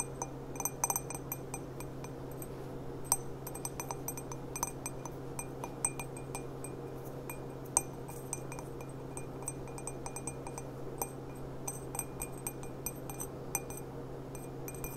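An empty clear glass stemmed goblet with a gilt rim and a gold bead on the stem is held on its side over a cloth and tapped with long black-painted nails. It gives a quick run of light, bright glassy clinks that die away almost at once, over a steady low hum.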